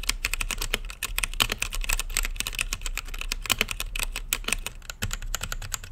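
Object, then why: Mechanical keyboard with plastic keycaps and acrylic case. Fingertips type quickly on a mechanical keyboard with plastic keycaps in a clear acrylic case, lit blue and purple. The keystrokes form a dense, steady stream of short, bright clacks centered around 3 kHz, each with a low thock underneath and almost no ring after it.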